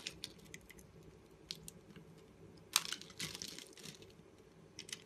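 A utility blade cuts a grid into a solid round green soap with pink flecks held in the palm, then scrapes off small cubes. Soft, dry, bright ticks and crunches are heard, with a louder crisp scrape and crumbling burst midway before the light ticking resumes.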